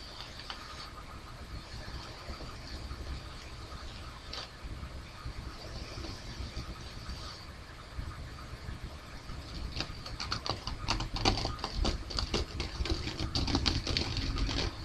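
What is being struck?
Paper facial tissue.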